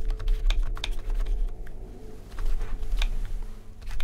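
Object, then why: Plastic membrane computer keyboard. Both hands type rapidly with their fingertips on a full-size black plastic RGB membrane keyboard with rainbow backlit keys. The key taps come as a quick run of soft, short clicks with a bright edge and almost no ring. A steady low hum sits underneath the whole time.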